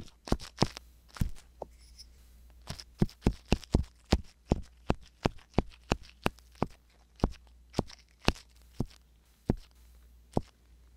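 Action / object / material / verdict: scrape / silicone ear of a binaural microphone scraped by a metal ear pick / silicone / none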